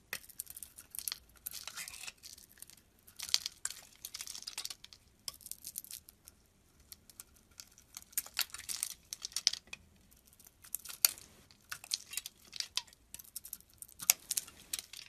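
A white and blue soap bar, solid cream with a blue glitter coating, is held in hand while a metal utility knife blade chips and shaves the coating off. The result is bursts of dry, bright, crackling scrapes and crisp crumbly flakes, mostly high-pitched with almost no low end. Short quiet pauses separate the bursts.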